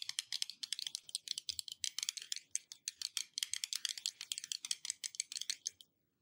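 A glass surface is tapped rapidly with fingertips or nails, producing a dense, continuous run of about forty short, bright clicks. Each tap stops almost instantly with no ring, and the tapping ends just before the clip does.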